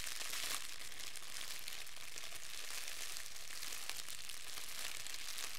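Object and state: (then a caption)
Crumpled clear plastic film. A fist-sized ball of clear, thin plastic wrap is crumpled between both hands with the fingertips. It makes a steady, continuous crackling crinkle with a bright, hissy texture at an even, low level throughout.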